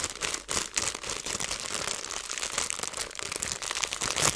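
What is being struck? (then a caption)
Plastic zipper bag of small seeds. Fingertips and long nails press and crinkle a clear plastic zipper bag, partly filled with small seeds, near its seal. The result is a dense, continuous crackling crinkle that is bright and hissy, with very little low end.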